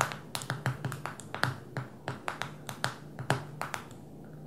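A fingernail taps on the glass touchscreen and edges of a small black smartphone lying flat on a table. A quick, uneven series of sharp, dry clicks decays almost instantly over a faint steady low hum.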